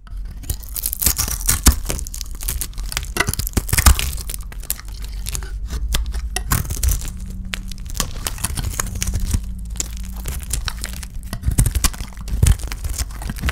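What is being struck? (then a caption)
Soap bar scraped with a knife blade. A solid rectangular bar of dry soap with blue glitter paint is held in the hand and shaved and scraped with a utility knife blade. The clip is a steady run of dry, crinkly scraping and crisp crunching over a low rumble, with bright flecks on each stroke and a few sharper cuts standing out.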